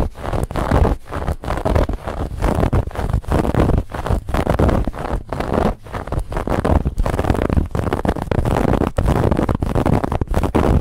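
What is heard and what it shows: Long nails of both hands scratch vigorously at a soft, stuffed white fabric pillow with a woven textured band. Dense, rough scratching strokes run almost continuously with brief gaps, with a heavy low, muffled rumble and little high hiss.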